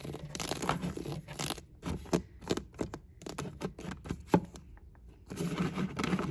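A row of PS4 and Switch game cases, made of hollow, thin plastic with paper inserts and standing on a shelf, is tapped, flicked and scratched along the spines with fingertips and nails. Dense, crackly scratching opens and closes the clip, with quicker separate taps and sharp flicks in between. The sound is dry and hollow, with short clicks that stop almost at once.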